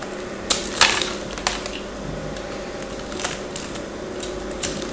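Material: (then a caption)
Soap. A craft knife blade shaves and scratches flakes off a small solid piece of pink and blue bar soap held in the fingers. Sharp, bright scraping clicks and short crackles stand out over a steady, hissy background, with the loudest bursts early on and scattered softer scrapes after.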